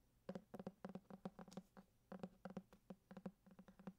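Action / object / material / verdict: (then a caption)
tap / hardcover book with cardboard cover / cardboard / none. Fingertips tap and scratch the embossed cardboard cover of a thick hardcover copy of Grimm's Fairy Tales held close to the mic. About twenty quick, dry taps come in uneven bursts, each a soft, hollow low thud that dies away almost instantly, with faint scratchy texture between them.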